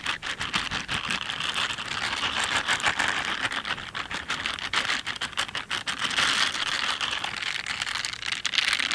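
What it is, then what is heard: Silicone scrubber gloves rubbed together. Pink silicone dish gloves with bristle pads, worn on both hands, have their gloved fingers and palms rubbed and scratched against each other close to the mic. The result is a dense, continuous bright scratching and bristly crackle with almost no low end, holding a steady level for the full nine seconds.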